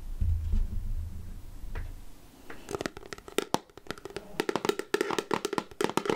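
A clear plastic jar full of chocolates with a black plastic lid is tapped on the lid with long nails. After a low rumble of handling, quick, short clicky taps come in irregular bursts, each with a hollow plastic tone around 400 Hz and almost no ring.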